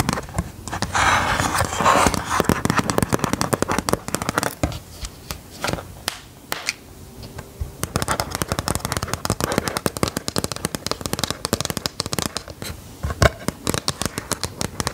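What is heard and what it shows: Long pointed gold metal claw nails tap and scratch the screen surface and edges of a white plastic LCD writing tablet held upright. The result is a dense run of sharp, dry clicks and scratchy rasps, each very short with almost no ring. The scratching leaves marks on the screen.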